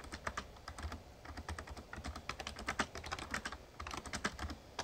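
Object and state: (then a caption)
Plastic membrane keyboard being typed on. Fingertips type steadily on a full-size, backlit plastic Razer Ornata Chroma mecha-membrane gaming keyboard. The result is a quick, continuous patter of short, muted clicks with bright, crisp tops and a soft low thud beneath each keystroke.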